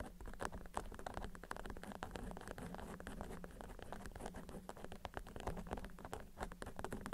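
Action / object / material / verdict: tap / waxed cotton wrap / waxed cotton / none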